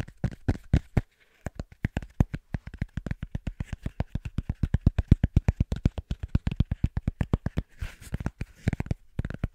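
A small, thick, round cork coaster held between both hands is tapped fast with the fingertips, giving a rapid run of about sixty dull, low thuds with no ring. The taps come roughly four per second in a loose rhythm, with a brief pause near the start and another near the end.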